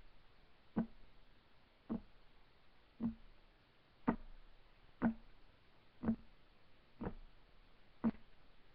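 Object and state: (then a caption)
Wooden table top. Fingertips of both hands tap on a solid, flat, light wood desk top, giving eight short, dry knocks spaced about a second apart. Each knock is a brief, low-mid thump that dies away almost instantly over a faint background hiss.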